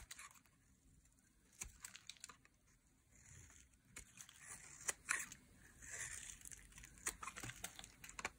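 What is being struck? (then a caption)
Bar of soap shaved with a metal blade. A metal blade shaves thick curls off the edge of a solid, bright green dry soap bar. Quiet, crisp scraping and crunchy crackles are heard, with sharp clicks and brief bright swells of shaving noise, mostly in the high range.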